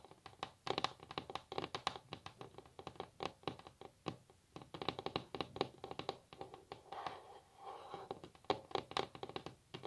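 Long natural fingernails of both hands tap and scratch rapidly on a solid wooden table top. Dozens of quick, dry, mid-pitched clicks come in uneven bursts and die away almost instantly. Soft scraping passages break up the tapping, most noticeably around the seventh second.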